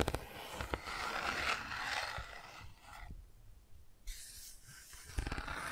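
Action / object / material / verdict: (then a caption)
scrape / textured cardboard board book pages / cardboard / none. Fingertips and long nails rub and scratch the textured car and bicycle shapes on the open bicycle/car pages of a cardboard board book. The result is a soft, dry scratching with a bright, hissy edge, broken by a few sharp taps at the start and near the end. The rubbing thins out briefly in the middle before the scratching resumes.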